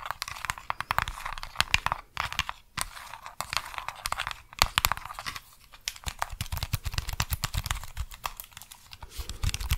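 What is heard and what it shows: A small, flat white plastic remote control with colored rubber buttons is held in one hand while long acrylic nails tap and click on the buttons and the plastic body. The result is a dense run of short, dry, bright clicks and crinkly taps with almost no ring, over a low background rumble.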